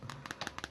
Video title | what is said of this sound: Perbandingan Sony XZ3 vs Sharp Aquos Zero 2 | iya, ini plastik ya, polikarbonat, plastik banget ini.